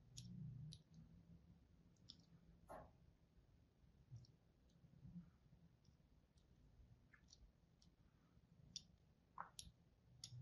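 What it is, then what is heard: Bar soap being scored. A thin blade tip scores parallel lines into the surface of a solid, palm-sized white bar of soap with an oval logo. Quiet, short, crisp scratchy clicks sound at irregular intervals, each dying away at once, over a faint low hum.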